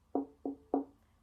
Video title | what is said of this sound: The sounds of the strings | if we tap gently on the back, we can also hear the space inside the violin, and this is the sound box